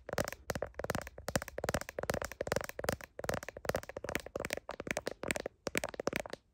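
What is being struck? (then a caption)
Plastic smartphone case. Long nails tap and click rapidly on a phone's blue heart-patterned plastic case around the camera lenses. The clicks are short, dry and closely spaced in quick bursts, with a hollow plastic tone around 550 Hz and bright edges, and each one dies away almost instantly.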